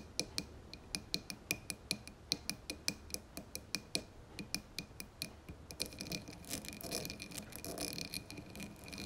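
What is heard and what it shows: Long fingernails tap the sides of a dark blue, textured, embossed glass candle jar filled with wax, then move to its rim. Sharp, bright clicks with a high glassy ping ring briefly in a steady rhythm for about six seconds, then give way to denser, faster, more rustling taps on the rim.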